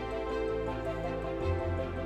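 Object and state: Nothing is struck.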